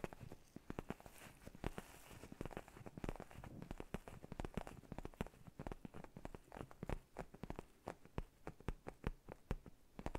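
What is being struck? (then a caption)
Padded faux-leather neck pillow. Fingertips tap rapidly and nails scratch across the surface of a black padded faux-leather neck pillow, close to the mic. The result is a quiet, dense stream of soft, dull, low thuds with short, dry scratchy textures between them and almost no ringing or bright content.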